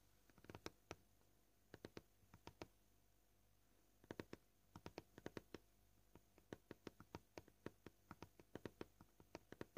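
Short painted fingernails of both hands tap a flat, solid white plastic cutting board. The quiet, dry, clicky taps die away instantly with no ring. They come in uneven bursts, quick runs broken by brief pauses.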